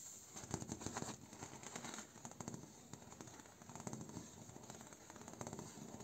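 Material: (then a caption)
Bamboo. A bamboo door is tapped, traced and scratched by hand. Quiet, dry clicks and crackly scratching rustles come in quick irregular bursts, with each tap dying away almost instantly. There is a faint low body under bright, hissy scraping texture.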